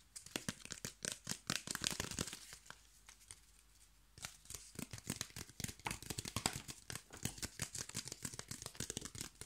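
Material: Cardboard.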